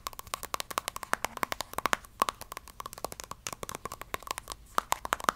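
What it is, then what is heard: Plastic squeeze tube. Long dark nails tap and scratch along a small, hollow pink plastic cosmetic squeeze tube and its cap, held in the hands. The result is a quick, uneven run of dry, crisp clicks and light scrapes with a hollow tone around 1.2 kHz and bright edges. Each tick dies away almost instantly, over a quiet, close background.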